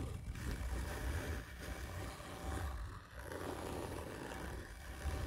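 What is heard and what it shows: Long nails on both hands scratch hard and slowly across the textured surface of a hollow black printed cardboard gift tube lying on its side. The result is a continuous, deep, rumbling scrape with most of its energy in the low end, dipping briefly around the three-second mark before swelling back.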